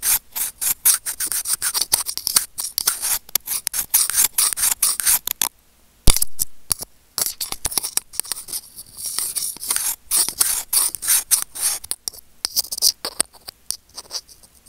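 Curved steel tweezers rub and scrape against a small hollow white plastic earphone inline remote microphone. The result is a fast run of bright, scratchy rasping strokes, broken by a short silent pause near the middle and a sharp click before the rubbing resumes.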